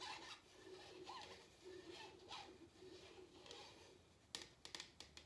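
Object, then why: Paper drink cup. An empty printed paper/cardboard drink cup is held in the hand and tapped with fingertips and nails on its side and bottom. It starts as soft, bright, scratchy brushing and rubbing, then gives way to a few sharp, dry clicks with almost no ring.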